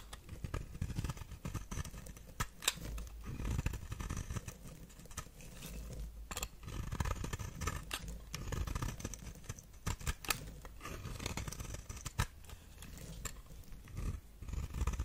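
A knife blade shaves white flakes off the face of a palm-sized, solid white, figure-shaped bar of dry soap held in the hand. The sound is a run of crisp, dry scraping and crackling strokes with sharp bright clicks over a soft low rumble, continuing steadily throughout.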